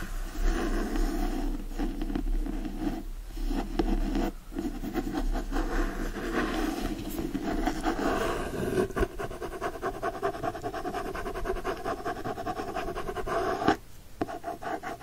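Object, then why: Hardcover book with paper-covered board cover. Fingertips and nails scratch the front cover of a Secret Garden hardcover book with a printed paper-covered board cover, first as it rests on a blanket and then while it is held up. The result is a steady, dense, low scratchy rasp with little high-end brightness, which drops quieter near the end.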